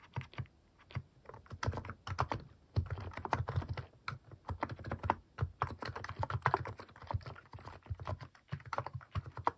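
Fingertips type quickly on a compact plastic mechanical keyboard with cat-shaped plastic keycaps, producing fast bursts of short, dry key clacks with a low thocky body and a little brighter click on top. The presses come in dense flurries separated by brief pauses, each stroke dying away almost instantly.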